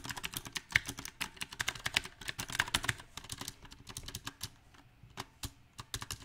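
Fingertips type on a backlit compact mechanical keyboard with round typewriter-style plastic keycaps set in a silver metal frame. Dense, bright, sharp key clicks come in an uneven rhythm, bunching into quick bursts and then thinning into sparser, scattered presses. Each click is short and dry, with almost no ring.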